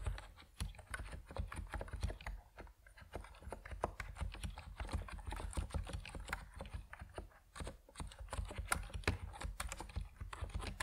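Fingertips type steadily on an Epomaker NiZ Plum Atom 68, a compact plastic mechanical keyboard with white and purple PBT keycaps. Dense, rapid key clicks and clacks run throughout, each short and dry with a quick decay, over a low, heavy body, with brief gaps in the rhythm.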